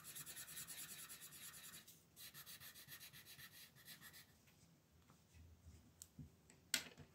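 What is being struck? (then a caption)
Thin paper page and colored pencil. A red colored pencil shades a thin paper coloring book page resting on a table with quick back-and-forth rubbing strokes, making a bright, dry, scratchy hiss. Two bursts of steady strokes are separated by a short pause, followed by softer, scattered scratches and a single sharp tick near the end.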